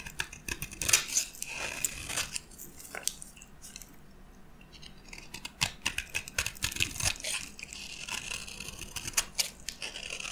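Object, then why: Bar of soap. A metal blade cuts into a dry, orange and white striped solid bar of soap held in the palm, and chunks crack off. Crisp, bright crunches and scraping cuts come in quick bursts, with a quieter stretch of faint scraping in the middle. Each crack is dry and short, with almost no ring.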